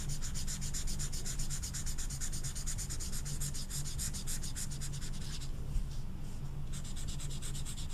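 A thick orange felt-tip marker is rubbed in short strokes over a small, flat velvet-flocked paper poster card while coloring, as the other hand, with long red nails, holds the card. The result is a steady, rapid, soft scratchy rubbing with a bright hiss over a constant low hum. The bright strokes thin out briefly around the middle before resuming.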